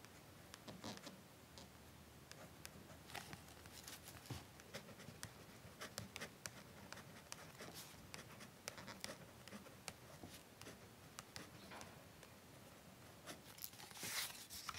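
A ballpoint pen held in the fingers writes on a small, thin paper check-out card tucked in a library card pocket inside the front cover of an open hardback book lying on a wooden desk. Quiet, bright scratching strokes and short ticks of the pen tip follow one another steadily, with a slightly louder burst near the end.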